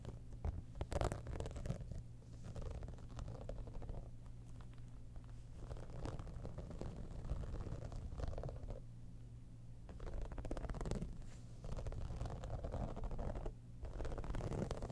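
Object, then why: Textured synthetic cosmetic bag. Long nails scratch and tap across the top of a hollow, embossed, holographic textured faux-leather cosmetic bag. The result is a continuous, quiet, low rumbling scrape with a steady hum-like tone. Brief brighter bursts of scratching stand out at moments.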